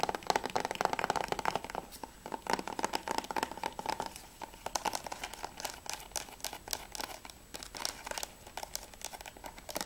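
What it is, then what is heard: Plastic game case. A closed plastic PS3 game case for Spec Ops is turned from its back to its edge to its front while fingertips and nails tap and scratch its plastic surface and edge. The result is a rapid, dense stream of sharp, dry clicks and scratchy rasps with a hollow plastic tone around 850 Hz, each tap dying away almost instantly.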